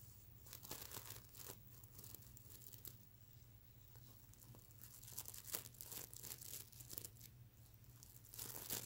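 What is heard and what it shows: Fingernails scratch across a soft stuffed mermaid unicorn plush pillow covered in reversible plastic sequins, flipping the sequins over. The result is a run of crisp, bright, crinkly rasps and quick clicks over a steady low hum.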